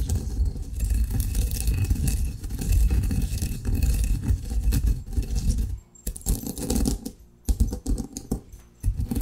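Coffee grounds are crushed with a granite pestle in a granite mortar, giving a dense, continuous low grinding rumble with gritty scraping and crunching. About six seconds in, the steady grind breaks into short bursts of scraping and tapping separated by brief pauses.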